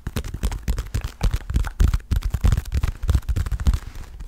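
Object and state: Leather boxing glove.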